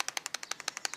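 A new Rimmel Volume Shake mascara, a plastic tube with an agitator ball inside, is shaken before use so the ball stirs the product and keeps it from drying out. Twelve quick, sharp, bright rattling clicks are heard in a rapid, even rhythm, each dying away almost instantly, with no low end.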